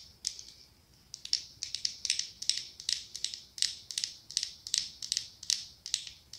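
Long acrylic nails tap and scratch the ribbed glass of a medium pumpkin-shaped glass candle jar filled with orange wax. The result is quiet, bright, crisp clicking with almost no low end, arriving in quick, uneven clusters of taps, each followed by a short, fast-fading scratchy tail.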